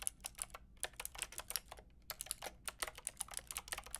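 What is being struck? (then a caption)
Plastic mechanical keyboard with round keycaps. Long painted nails and fingertips type on a white and pink Lofree mechanical keyboard with round plastic keycaps. About 23 quick, bright, clicky taps come in an uneven rhythm, each dying away almost instantly over a faint low hum.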